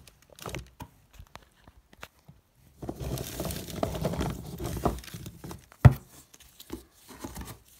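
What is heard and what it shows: A hand rummages and shuffles through a cardboard box full of hard, dry, bone-shaped dog biscuits, which knock and clatter against each other in soft scattered taps and then a denser, steady rustling clatter. A sharp, louder knock follows as one biscuit is picked up, before a few quieter taps trail off. The sound is dull and low-pitched, with very little high-frequency crispness.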